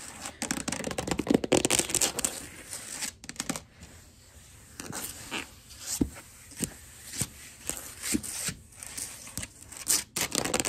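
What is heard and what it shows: Long glittery acrylic nails and fingertips scurry, scratch and tap across a flat wood-grain floor, a wood-look laminate or vinyl plank. A dense, crisp scratching rush opens the clip, then gives way to a run of short, dry clicks and brief scurrying bursts.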